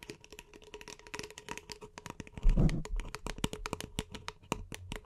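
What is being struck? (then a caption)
Paper cup. Long nails rapidly tap the side of an empty, hollow beige paper cup held in both hands, producing a dense stream of short, dry clicks. The taps are bright and crisp with a faint hollow body. A louder, fuller thump from handling the cup comes midway.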